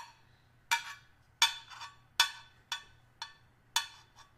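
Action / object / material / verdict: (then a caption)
tap / stainless steel hip flask / stainless steel / none. A small, hollow, flat stainless steel hip flask, held up in the hand, is tapped with the metal tip of a small screwdriver; its fill level is unknown. Six sharp, bright metallic ticks come at an uneven pace, some followed by a softer echoing tap, and each dies away quickly with only a brief high ring.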